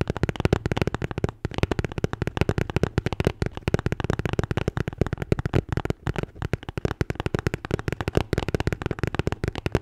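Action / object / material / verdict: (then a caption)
tap / beer can holder / unknown / none. A red Bintang beer can holder is tapped and scratched in a rapid, nearly continuous stream of short, dull taps with brief pauses. The sound is deep and thumpy with little high end, each tap dying away almost instantly over a soft scratchy texture.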